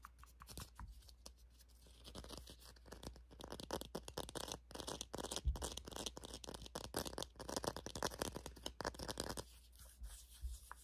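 Fingertips and nails scratch and rub the knit surface of a small egg-shaped pink and black crocheted yarn pig figure, likely stuffed or with a solid core, held in the hands. The result is a quiet, dense run of rapid dry scratching and rustling bursts with a bright texture over a steady low hum.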